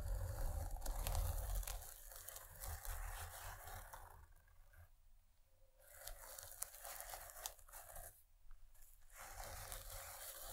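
Long nails scratch along the fabric surface of a long, padded paisley cloth pencil case with a zipper, lying on velvet. The result is a dry, rasping, tearing-like scrape over a low rumble, loudest in the first two seconds, with quieter breaks around the middle and again near the eight-second mark.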